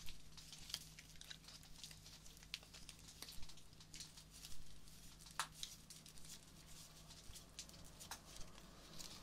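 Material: Petals.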